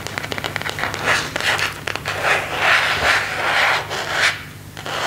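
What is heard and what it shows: Fingertips and nails scratch and rub the back of a thin, hollow, empty phone case made of semi-transparent plastic with a white marble and leaf print, held in both hands. Quick dry ticks and scratches give way to longer rasping rubs, with a papery sound focused in the upper mids and bright highs and almost no low end.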